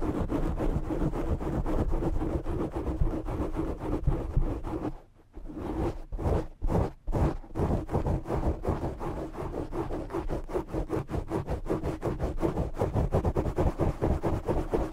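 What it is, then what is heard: Foam microphone windscreen being scratched. Both hands scratch and rub a black foam windscreen on a desk microphone with fingertips and short nails, making dense, rapid, rough scratching with a heavy low rumble. Around the fifth second the scratching briefly drops out, and a few separate strokes follow before the steady scratching returns and runs to the end.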